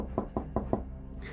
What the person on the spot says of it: You shouldn't be able to knock on a glaze.